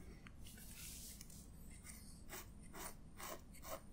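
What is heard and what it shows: A black feather quill pen with a metal nib, held in the fingertips, is drawn across the page of an open paper sketchbook lying flat on a table, with the other hand's long dark nails resting on the page. Quiet, bright, raspy scratches come in short irregular strokes over a low, steady background rumble as the nib writes ink strokes.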